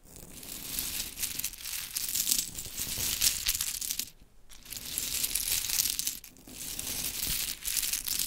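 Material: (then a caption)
Wood. A pile of small solid pink wooden mini clothespins is scratched with long chrome nails, then scooped by hand so the pieces clatter against each other. The sound is a dense, bright, crinkly run of scraping and clicking, with two short near-silent gaps around 4 and 6 seconds.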